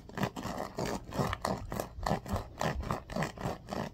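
Fingertips run along and scratch the pin bristles of a bamboo paddle hairbrush held upright. Soft, dry scratching strokes repeat in a loose, uneven rhythm, each a short rustly burst with a dull low-mid body and little high end.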